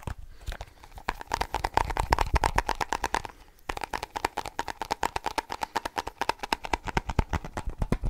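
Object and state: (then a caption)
Tapped snus container. A small snus container is tapped rapidly with the fingertips, producing dozens of quick, dry, hollow clicks with a faint tone near 900 Hz. The taps come in an uneven, fast stream, pause briefly around three and a half seconds, then resume as sharper separate taps.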